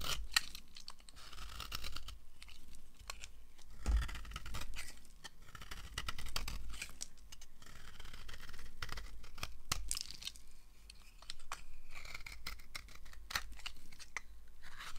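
A solid yellow oval bar of dry soap is held in the palm and scraped and carved with a red-handled knife blade, shaving off crumbly curls. Dense, dry scraping and crisp crackling strokes with bright, sharp edges repeat throughout, over a low rumble.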